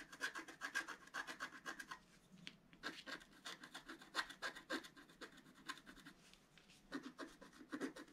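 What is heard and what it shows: A wooden stylus makes repeated short scratches on the flower area of a flat black-coated scratch-art paper card lying on a table. Quick, dry rasping strokes come in uneven bursts with brief pauses, each scrape bright and papery with a thin, scratchy top and almost no low end.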